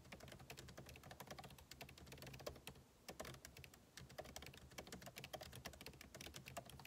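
Two hands type fast with their fingertips on the backlit keyboard of a MacBook Pro laptop, whose plastic keycaps sit in a hollow aluminum case. The result is a continuous stream of short, dry, clicky key taps with bright edges and a steady low hum underneath, easing briefly just past the midpoint before picking back up.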